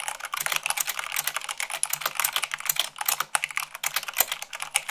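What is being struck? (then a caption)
Mechanical keyboard with plastic keycaps. Fast typing at about 98 words per minute with fingertips and long nails on a mechanical keyboard with white plastic keycaps on a black base. The result is a rapid, steady stream of crisp, bright clicks and clacks with very short decay and almost no low end.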